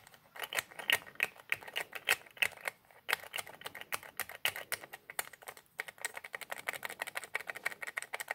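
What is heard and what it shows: Fingertips twist and rub the white plastic nozzle cap of a small white plastic squeeze bottle with a red label. Rapid, uneven bursts of dry, bright clicks follow one another, with almost no low end. Each click stops instantly with no ring.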